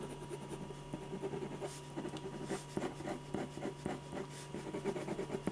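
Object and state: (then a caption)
Pen scratching on a paper drawing sheet. A silver metal ballpoint pen scratches quick shading strokes around the eyes and hair of a portrait on a large white paper sheet resting on an easel board. The result is a rapid series of dry, rough scratching rubs over a faint, steady low hum.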